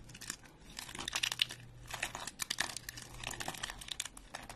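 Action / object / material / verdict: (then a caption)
scrape / soap flakes / soap / none. A single stack of thin, flat, dry speckled soap flakes is held and snapped between fingertips up close, then crushed. The result is a dense run of bright, dry crackling snaps and crunches with sharp, quick peaks and almost no low end.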